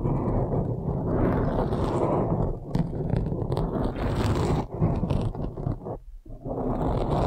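Long nails slowly scratch a blue foam windscreen on a microphone, making a dense, muffled rustling scrape that is strongest in the low end and has almost no high content. The scratching runs continuously at a steady level, with brief dips near the middle and a short pause around six seconds before it resumes.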